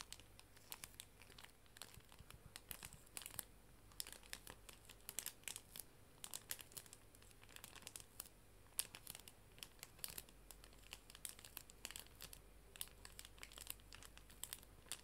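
A clear plastic cello sleeve holding small paper art prints is held in both hands and crinkled with fingertips and long nails. The result is a quiet, continuous stream of bright, crisp crinkling with many sharp crackles over a faint, steady low hum.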